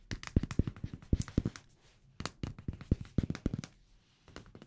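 A small amber glass perfume bottle with a black cap and paper label is tapped with fingertips and nails. Quick bursts of short, dull taps with a low body and a faint bright glassy tick come in three clusters separated by brief pauses.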